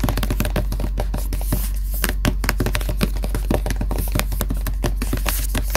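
Fingertips tap quickly and steadily on the printed black cover of a solid black Death Note hardcover notebook lying flat. The taps are soft, dull and low, each dying away almost at once over a faint constant low hum.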